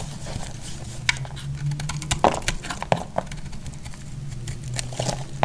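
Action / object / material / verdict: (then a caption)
scrape / bar soap shaved with a knife blade / soap / none. A utility knife blade shaves curls from a solid pink bar of soap with an embossed logo, held in hand. Crisp, bright scraping and crackling clicks sound over a steady low hum, with a few sharper snaps standing out.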